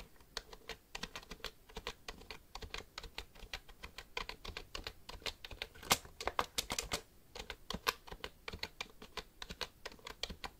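Fingertips type on the keys of a black plastic computer keyboard held upright in front of the face. A quick, uneven stream of short, bright clicks and taps rings for only a moment, with a few sharper, louder strikes standing out.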